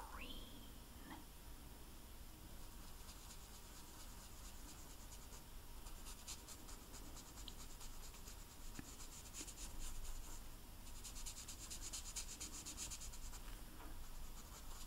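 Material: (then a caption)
Royal icing. A green food-coloring marker tip rubs and scratches over the dry, hard white royal icing on top of a large, flat, solid sugar cookie printed with Santa as it is colored in. The sound is quiet, steady, soft scratching with bright, high rasping bursts over a low background hum, plus a brief rising tone at the very start.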